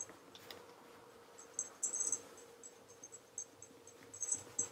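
A black leather REGAL tassel loafer is held in one hand while cloth-wrapped fingertips rub its toe in small circles for a mirror polish. Quiet, bright, high-pitched squeaks and chirps of cloth on leather sound in short repeated bursts over a faint, steady rubbing hiss.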